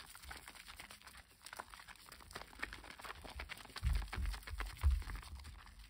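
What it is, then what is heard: Bar of household soap being lathered. A wet, solid rectangular green bar of household soap is rubbed between the palms and gripped by the fingers over a basin of soapy water. Dense, irregular crackling and squishing of lather and foam fills the clip, with a few heavier, low, muffled squelches near the end.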